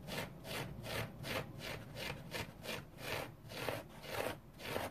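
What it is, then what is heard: Foam sponge scratched with fingernails. A dry orange foam sponge is rubbed and scratched with fingernails, making repeated soft, breathy scraping strokes. Each stroke swells and fades with a broadband, airy texture that is brightest in the upper range.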